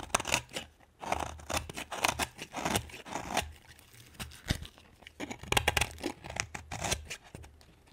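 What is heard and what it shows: A solid green bar of soap held in the hand is carved with a metal knife blade that scrapes across the surface and shaves off curls, with the shavings piled nearby. Short, bright, dry scraping strokes come in quick irregular bursts, each with a crisp, faintly crunchy edge and almost no ring.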